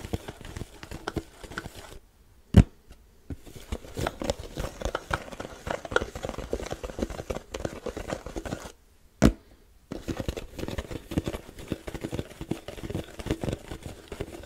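Fingertips tap the top of a black plastic lid on a large, hollow white plastic supplement tub. The result is quick, uneven patter of soft, dull, low taps with very short ring. The tapping twice pauses into near silence, each time broken by a single louder knock before the patter resumes.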